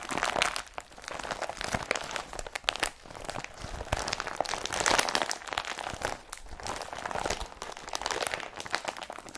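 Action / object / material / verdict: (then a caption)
scrape / woven polypropylene carrier bag / polypropylene / none. An empty, folded blue IKEA BRATTBY carrier bag made of woven polypropylene is crumpled and rubbed between both hands with fingertips and palms. It makes a dense, continuous crinkling and crunching rustle, bright and papery with very little low end, rising and falling in waves of handling.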